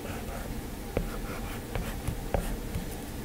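A plastic stylus taps and scratches small strokes across an iPad's glass screen while drawing a hand. Three sharp taps stand out over a soft, low scratchy hiss, and each fades quickly.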